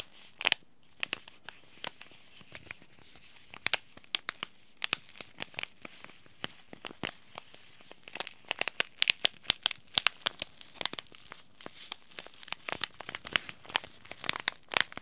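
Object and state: Paper tea bag packet crinkled.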